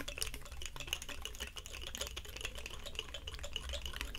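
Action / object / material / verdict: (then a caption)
scrape / woody pine cone / wood / none. A large, dry, woody pine cone has its scales rubbed and scratched with palms and fingertips. The result is a dense, continuous stream of dry crackles and sharp, bright ticks over a steady low hum, holding an even level throughout.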